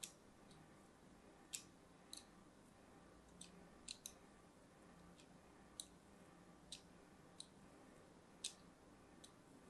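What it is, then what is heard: Bar soap being scored. A small metal blade scores lines into a hand-held, orange-and-white striped solid bar soap, making about a dozen sharp, bright scratching clicks spaced irregularly over quiet background hiss. Each scrape is brief and crisp with almost no ring, and most of the energy sits in the high range.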